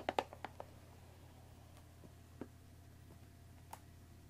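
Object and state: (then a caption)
Cardboard tea box. Long dark nails tap and scratch the top edge of a closed Earl Grey tea box made of thin printed cardboard, about 20 cm long and likely full of tea bags, resting on a wooden table. Seven short, dry clicks are heard: a quick cluster of five in the first 0.6 seconds, then two isolated taps later, each with a hollow midrange tone that dies away almost instantly. The taps sit over a faint, steady low hum.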